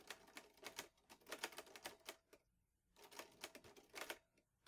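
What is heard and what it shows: Fingertips type steadily on the keys of a vintage teal metal Underwood Olivetti Lettera 22 portable typewriter with paper loaded. Rapid, bright mechanical clacks of the typebars come in quick bursts, with a short pause midway and another near the end.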